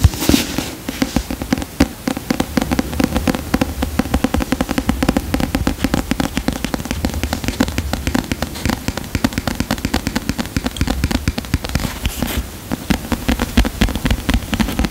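A medium paperback book with a solid paper cover, "The Giant Book of Dreams," is held in both hands close to the microphone while fingertips and nails tap and scratch the cover. The result is a dense, continuous patter of quick, dry taps with very short decay over a low, warm body and soft scratching.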